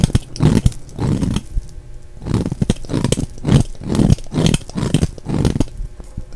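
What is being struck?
Bar of soap.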